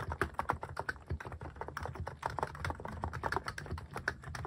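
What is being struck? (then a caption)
Mechanical keyboard with plastic keycaps. Fingertips type quickly on a Hanmumu mechanical keyboard fitted with plastic cat-shaped keycaps. The result is a steady run of short, dry clacks with a muted low thock and a mid-pitched click near 1 kHz. Each keystroke dies away almost instantly.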